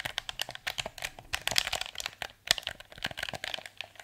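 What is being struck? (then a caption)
Plastic game controller. A hollow blue plastic PS4 controller is held in both hands while thumbs and fingertips press its buttons and tap its touchpad and shell. About twenty-two quick, dry clicks and taps follow one another in an uneven stream, bright and crisp with almost no low end and no ring after each hit.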